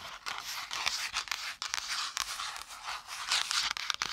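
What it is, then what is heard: Spiral notepad with cardboard cover, tapped and scratched. Long nails and fingertips rapidly tap and scratch the brown kraft cardboard cover and pages of a small spiral-bound notepad held upright beside and in front of the mic. The result is a dense, bright run of dry, papery clicks and rough scratching with almost no low end and no ring after each tap.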